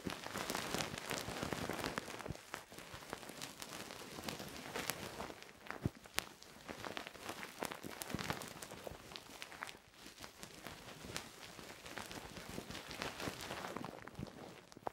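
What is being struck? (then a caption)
Silicone microphone ear scraped with a wooden stick. A thin wooden stick, held by fingers with long painted nails, scratches and rubs inside the hollow molded ear canal of a soft silicone binaural microphone ear, like ear cleaning. A dense, irregular stream of crackly scratching and rustling is heard, close and bright, scattered with sharp clicks and pops. It keeps a fairly steady level throughout.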